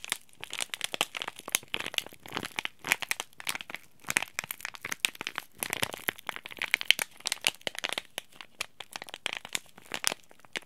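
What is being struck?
Laminated plastic-foil tea bag packet.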